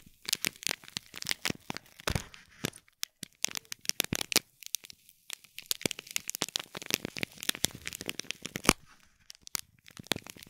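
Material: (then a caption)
Foil, plastic. Fingertips and nails scratch and crinkle the plastic film wrapped around a small gold foil-wrapped gift box with a gold bow. Dense bursts of sharp, bright crackles and crisp snaps come in quick, uneven clusters with brief pauses, each one dying away almost instantly, with little low end.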